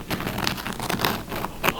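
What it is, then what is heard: Crispy baked focaccia crust. A freshly baked no-knead focaccia with rosemary and caramelized onion, just out of the oven, is handled so its crust crackles. A quick run of soft, dry crackles and snaps plays over a light crinkling bed. The crust is very crispy, with a crisp golden bottom.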